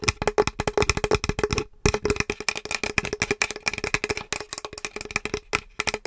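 Long acrylic nails tap quickly across the surface and edges of a small, flat, solid painted wood or MDF Halloween plaque with a pumpkin and "Happy Spooktacular Halloween" design. The result is a rapid run of dry, sharp clicking taps with no ring, broken by a couple of brief pauses.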